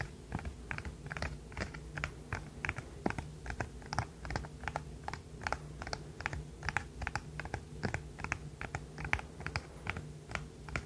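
A small, flexible, rainbow-coloured silicone pop-it fidget toy is held in both hands while its hollow bubbles are pressed and popped with the fingertips and the toy is tapped with nails. About 44 short, dry pops and taps follow one another at an uneven pace, each dying away almost at once. A steady low hum runs underneath.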